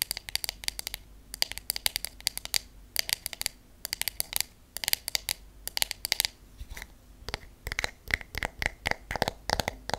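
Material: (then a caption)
Wood. A wooden hairbrush with wooden pins has its wooden back and handle tapped with long acrylic nails and natural nails. The result is a steady stream of sharp, very short, bright clicks and ticks, mostly high in pitch, with the taps arriving in quick clusters and brief pauses between them.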